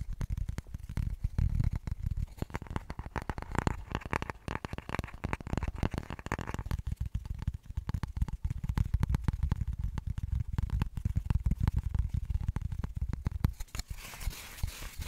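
Long painted nails rapidly tap and scratch the colorful printed top of a small, flat, square cork-backed coaster held in both hands close to the mic, sped up to three times normal speed. The result is a dense, dry stream of quick clicks and soft low thumps with almost no ring. Near the end the low thumping drops away, leaving a brighter, hissy scratching.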